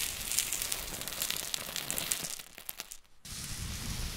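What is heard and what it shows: Pink and green silicone spatulas dig, scrape and stir a heap of coarse pink Himalayan rock salt, giving a dense, bright crackling and gritty crunching of shifting crystals. Near the end, the sound briefly drops away almost to silence before the crunchy scraping resumes.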